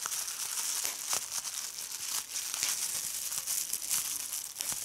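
A hand crumples and squeezes a sheet of clear plastic bubble wrap, popping bubbles. The result is a steady, bright crinkling hiss with sharp little pops scattered through it and no low-end body.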